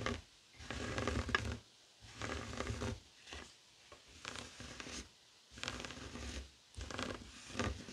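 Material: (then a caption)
Woven fabric. Fingertips and short nails scratch across a flat, heart-shaped woven tapestry fabric coaster lying on a wooden table. A series of rough, dry scratching bursts, each about a second long, are separated by brief silences. Each burst carries a bright, crackly texture over a soft low rumble.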